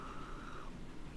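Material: Nothing is struck.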